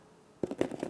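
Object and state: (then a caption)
Hollow balloon bread. A finished gonggal-ppang, a crunchy balloon bread with a thin, crisp, crusty shell coated with melted syrup, is knocked on several times in quick succession. The result is short, dry, hollow-sounding taps centered around 355 Hz, with almost no ring. The bread is hollow inside, which is the intended state for this bread.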